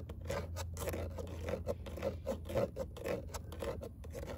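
Long nails scratch a perforated metal car door speaker grille, a fine hexagonal mesh over a hollow cavity, with a claw-like hand. The result is a rapid, uneven series of raspy scrapes, about two per second, with a hollow tone around 527 Hz and bright, airy streaks. A steady low hum runs underneath.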